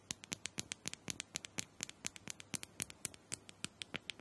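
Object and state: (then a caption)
Plastic handheld massager. Long nails tap and scratch a small round purple plastic dome massager, likely hollow, held in one hand. About 30 quick, sharp, bright clicks come in an uneven patter with faint scratchy rasps between them. Each tap dies out almost instantly, with very little low end, at a quiet, close level.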